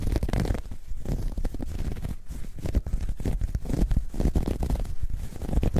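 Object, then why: Knitted fabric bag. A dark grey ribbed knit fabric bag, soft and hollow, is stretched and scratched with long nails. The result is a continuous, deep, rumbling scratch with a muffled low-end texture and short rasping bursts throughout.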